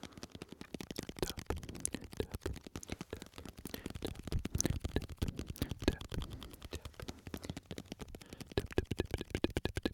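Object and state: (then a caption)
Glass jar of candies. A small glass jar full of red and yellow candies is held between the mics and tapped fast with the fingertips of the other hand. The result is a dense, uneven stream of short, dull taps with a low, thumpy body and little ring, each one dying away almost at once.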